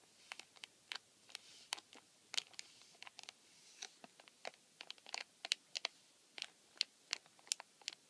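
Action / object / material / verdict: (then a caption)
scrape / cardboard tissue box with thin plastic film window / cardboard, plastic film / none. Fingertips and nails scratch and rub the thin clear plastic film over the dispenser slot of a flattened, empty white printed cardboard tissue box (Joy! Botanica 170) held on a table. Quiet, dry crackles and sharp ticks arrive in an irregular stream, each very brief and bright with almost no low end.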